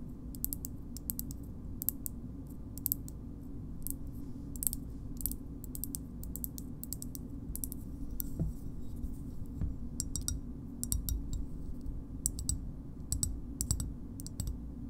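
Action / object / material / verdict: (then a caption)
tap / small hard plastic shoehorn / plastic / none. Long nails tap both sides of a small, hard green plastic shoehorn, making a steady run of quick, dry clicks. Each tap is short and bright with almost no ring, heard over a constant low hum.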